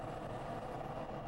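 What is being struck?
Nothing is struck.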